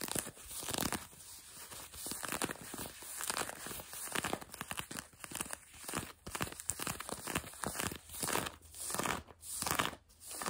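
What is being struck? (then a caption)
Denim jeans fabric. Long glossy nails quickly scratch light blue denim jeans stretched over a bent knee. The result is a close, dry, rapid rasping of bright fabric scratches in uneven bursts and swells, with a faint high hiss throughout.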